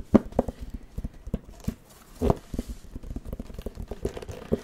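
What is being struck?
Plastic drawing pad screen.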